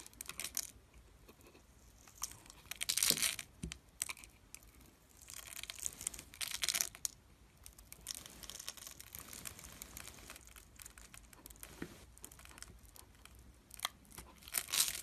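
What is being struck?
Glycerin soap bar scraped with a metal blade.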